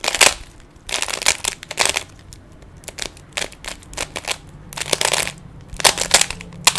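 Fingers twist the faces of a small, solid plastic 3x3 Rubik's cube, producing quick bursts of dry, bright clicks and clacks. The twists come in rapid clusters separated by brief quieter pauses, each click stopping almost instantly.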